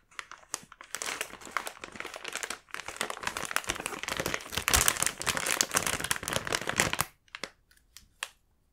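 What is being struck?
Sealed plastic film snack bag.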